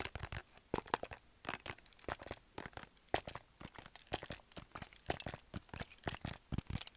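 A medium plastic household spray or cleaner bottle with a printed label and a white trigger head, held in both hands, is tapped and scratched with fingertips and nails. The result is a quick, dense run of short, dry clicks and crinkly scrapes that decay almost instantly. The hollow plastic gives the taps a light, papery crunch with some brighter edges.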